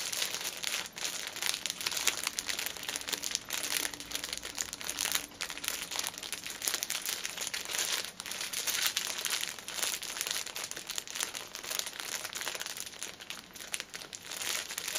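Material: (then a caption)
Plastic film. A hand-held six-pack of paper pocket tissue packets in cellophane plastic film is squeezed and turned while fingernails crinkle the wrapper. The result is a steady, dense stream of bright, crackling plastic crinkles with almost no low end, rising and falling slightly in loudness across the clip.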